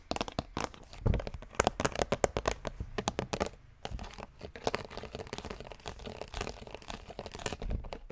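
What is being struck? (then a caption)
Plastic skull container with plastic brain lid. A large hollow pink-red plastic skull bucket with a green plastic brain lid is tapped and scratched rapidly by fingers and nails on the lid. Dense, crisp clicks and scratchy crinkling run continuously, with a brief quieter pause near the middle.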